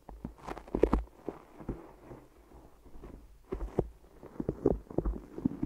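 Fingertips press and release on sticky tape wrapped around microphone ears, making a series of soft, dull taps with faint sticky peeling clicks. The sound is low and muffled, with no bright highs. The tapping eases off into a quieter stretch in the middle, then picks up again toward the end.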